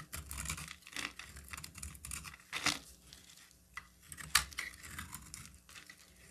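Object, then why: Bar of soap scraped with a metal blade. A solid cream-coloured bar of soap is carved and scraped with a metal box-cutter blade, leaving crumbly flakes. Dry, bright scraping and crackly crunching come in irregular bursts, with a few sharper snaps standing out.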